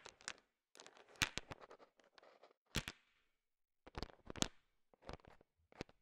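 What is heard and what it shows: A wooden stick pushes and stirs a heap of small, solid, hard-shelled, colorful sugar-coated M&M candies. Irregular bursts of crisp, bright rattling and clicking of candy against candy come with short pauses between them, each dying away almost at once.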